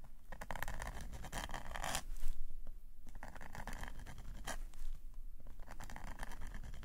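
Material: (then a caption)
Paper. A metal calligraphy nib scratches hatching lines across a black paper sketchbook page lying flat. Quick, dry scratching strokes come in a steady rhythm over a constant low rumble, with brief brighter, louder scrapes near the middle and again later.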